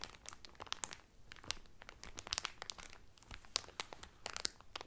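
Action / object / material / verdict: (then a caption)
scrape / thin cellophane wrap over a folded cloth towel / cellophane / none. Fingertips and medium-length painted nails press and crinkle the loose, thin clear cellophane sealing a folded blue terry Carnival towel that lies flat on a table. The result is a steady run of quiet, crisp crackles and sharp snaps, mostly high and bright with little low end. Each pop dies away almost instantly.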